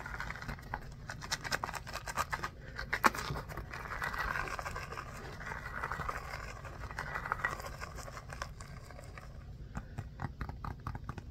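A small, solid orange foam stress ball with a basketball pattern is held in both hands and scratched with short nails and fingertips. Quick, dry scratching strokes patter steadily across the clip over a faint low rumble, with a slightly sharper scrape near the three-second mark.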